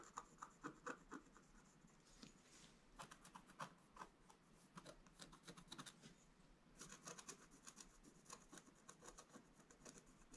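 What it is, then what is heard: Scratch-art card page being scratched. A wooden stylus scratches the coating near the top edge of a flat, black-coated scratch-art page. Short, rasping strokes come in quick bursts with a bright, dry scrape, ease off for a stretch in the middle, then pick up again in a denser run of scratching.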